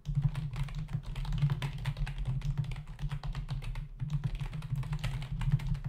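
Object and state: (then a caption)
Plastic computer keyboard being typed on. Both hands type with their fingertips on a black plastic membrane computer keyboard resting on a desk, its hollow body and plastic keys giving a rapid, steady stream of short, soft clicks and taps. The keystrokes sound dull and thuddy, with most of the energy in a low hum and only faint bright clatter. Typing continues throughout with a brief lull near the middle.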